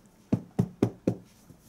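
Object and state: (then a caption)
Solid, sturdy cardboard box. Four knocks on the cardboard packaging box of a Storm Collectibles Special Edition figure, limited to 300 pieces, give dull, low thuds that die away almost at once. The box sounds rock solid, proper quality card and very sturdy.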